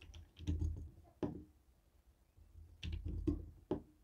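A jade stone face roller taps a white and black hollow plastic TV remote control, making short, dull, low clicks and knocks in irregular bursts. The taps have a faint hollow tone and die away almost instantly, with quiet gaps between the clusters.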